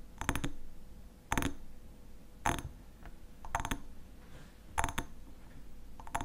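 A glass honey bottle with a black lid is tapped and scratched with quiet, close detail. Clusters of quick, bright glassy clicks and clinks arrive about once a second, with short ringing tones that fade almost at once. Softer scraping and faint clicks fill the gaps between them.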